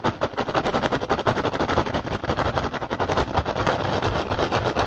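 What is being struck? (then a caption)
Woven rattan basket. Fingertips tap and scratch fast across the weave of a hollow woven rattan basket. The result is a dense, irregular stream of dry clicks and crackly scraping, with quick taps blurring into steady texture and a faint hollow body under them.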